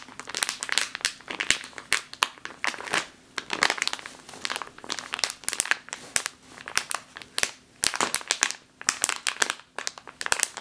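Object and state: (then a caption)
Plastic bag of flour. A full plastic bag of flour, held in both hands, is scratched and squeezed with long nails. The result is dense, bright crinkling and crackling in irregular bursts with a soft, gritty rustle between them.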